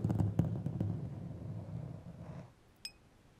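Two long, thin, solid steel threaded screws or rods are crossed, scraped thread on thread, and tapped together. A low, rumbling rasp with several sharp ticks fades out over about two and a half seconds, followed by a single bright metallic ping near the end.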